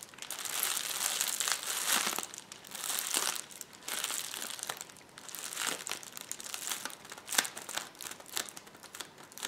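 A rolled-up sheet of clear plastic bubble wrap resting on a table is rubbed and scratched with the fingertips and nails of both hands. The result is a steady, bright crinkling and rustling that swells and fades in waves, with occasional sharper crackles standing out.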